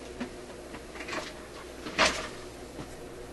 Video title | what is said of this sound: RCA Victor Model 65U Radio/Record Player Video #2 - Replace Dial String | Well, the capacitor is not closing all the way. It sounds like metal on metal.